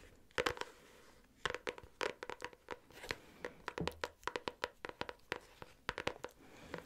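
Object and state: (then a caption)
Hardcover notebook tapped with metal-tipped nails. Long nails fitted with metal paper clips tap and scratch on a medium, solid pink hardcover notebook with a cardboard cover. The result is quick, sharp clicks with a bright metallic tick and very short decay, separated by soft scratchy rubs.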